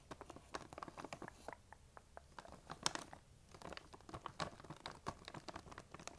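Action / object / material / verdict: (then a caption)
scrape / plastic candy bag / plastic film / none. Long nails tap and scratch a large, printed plastic M&M's candy bag that appears full. The result is a quiet run of sharp, crinkly clicks and scratchy rustles with brief pauses between bursts, each sound dying away almost instantly.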